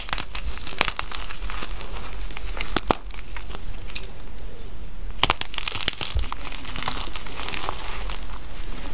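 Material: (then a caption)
Chalk. A solid pink gym chalk (magnesium carbonate) block resting on a bed of loose chalk powder is crushed and crumbled between bare fingertips and palms. Dense, dry crinkling and crunching continues throughout, with sharp crackles and bright, brief snaps breaking through over a low rumble.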